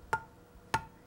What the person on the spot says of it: hear that dull sound that tells me this jar hasn't sealed